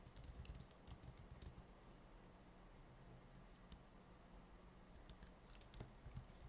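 Fingertips of both hands type fast, repeated taps on the plastic keys of an open laptop with stickers on its palm rest. Sharp, bright clicks come in bursts at the start and end, with a quieter stretch in the middle, all over a steady low hum.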